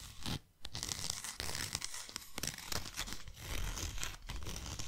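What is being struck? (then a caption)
Cardboard box. Long nails scratch and tap the sides of a tall, narrow, closed white cardboard box. The sound is dry, papery scratching broken by quick, irregular taps with a low, hollow body. There is a brief near-silence about half a second in.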